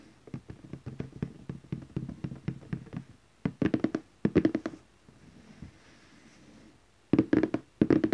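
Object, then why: Cardboard gift box. Fingertips gently tap the lid of a large glossy orange cardboard gift box. The short, dull, hollow taps fall in a steady light patter for about three seconds, then come in quick clustered bursts. A quiet pause near the middle precedes two final bursts, and each tap dies away at once with no ring.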